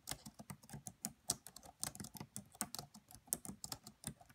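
Fingertips with medium-length nails type quickly on the black plastic keys of a red laptop. A rapid, uneven run of quiet, crisp keystrokes is heard: bright clicks with soft low thuds that stop almost instantly, with no ring between them.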